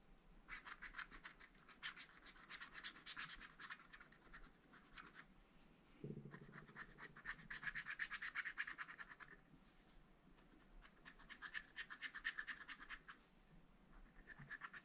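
A wooden stylus scratches across the flower and stars on the black wax coating of a scratch-art paper pad with a spiral binding. Quick, bright, dry scratching strokes come in bursts with short pauses between them, and each stroke rasps briefly with almost no ring afterward.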